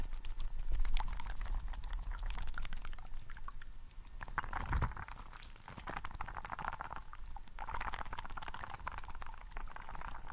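A hand-sized, green translucent rubber frog toy filled with water gel beads is squeezed and rubbed in one hand beside the mic. It makes continuous wet squelching and bead crackling, with a dense patter of soft clicks over a low rumble. The sound swells and fades as the grip tightens and loosens.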